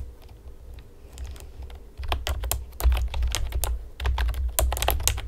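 Long painted nails and fingertips tap rapidly on the hollow keys of a pastel plastic typewriter-style computer keyboard with round retro keycaps. Faint, sparse taps for the first two seconds give way to a denser run of sharp, bright plastic clicks, each dying away almost at once over a steady low hum.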